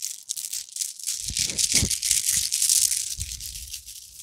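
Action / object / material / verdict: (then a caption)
shake / plastic bead necklace / plastic / none. A necklace of small round orange plastic beads is bunched up and vigorously shaken and rubbed between both palms and fingers. The result is a dense, bright rattling clatter with no clear pauses between clicks, plus a few soft low thumps from the handling.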